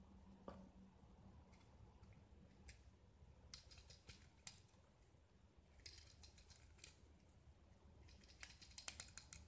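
A metal utility-knife blade scrapes and carves a small, solid white gypsum block with a green painted coating, held in one hand, shaving off flakes. Quiet, dry scratching and crisp, bright scraping strokes repeat in short bursts over a low steady hum.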